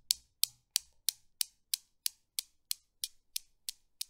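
A long-nailed hand sets the small, solid chrome steel balls of a desktop Newton's cradle swinging, and they knock together. Thirteen sharp, bright clicks follow at a steady pace of about three per second. Each click is very short, with almost no ring and no low end.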